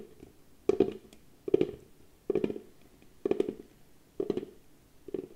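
A small, hollow, cylindrical box of pale wood is held in both hands while long nails tap and scratch its lid and side. Six separate bursts of quick, dry clicks and scrapes sound a hollow mid-pitched knock with almost no ring, spaced by short quiet gaps.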